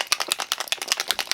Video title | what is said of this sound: Why is this so HARD? Boxycharm Premium October 2020 | Can you hear that? That's really liquidy.